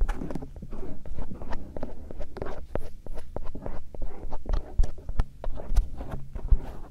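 A bamboo earpick held in fingers scratches the silicone ear shells of a binaural microphone, working over the auricle and the area around the canal opening. It makes a steady run of short, close scraping and rubbing strokes with a deep, muffled body and brief bright ticks, the sound shifting from one stroke to the next.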